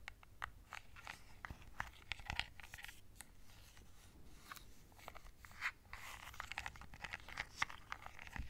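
A small hollow plastic LED remote control with colored buttons is held in one hand while long nails tap across its button face. The taps come as quiet, dense, bright clicks with short crisp attacks over a soft low rumble, growing busier and slightly louder in the second half.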